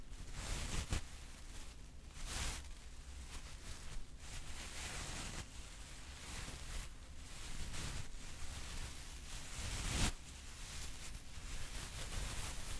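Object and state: Nothing is struck.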